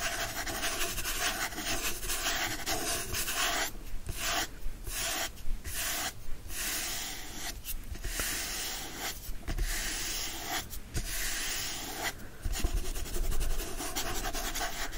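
Fingertips scratch and rub the back of a hand-held hardcover copy of The Secret Garden, which has a printed paper-covered board cover. The result is a steady, dry, broadband scraping hiss with a bright top. Brief pauses break it into repeated strokes.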